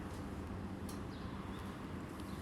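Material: Nothing is struck.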